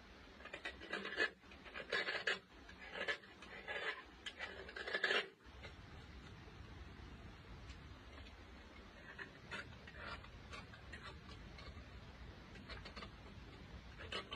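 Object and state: Chalk block scraped.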